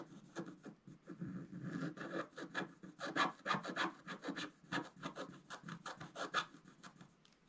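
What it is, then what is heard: Scratch-art paper card being scraped. A wooden stylus scratches a curtain drawing into a flat, black-coated scratch-art paper card. It makes a quick, irregular run of short, dry scraping strokes with a rasping, papery texture, mostly in the mid range with bright edges.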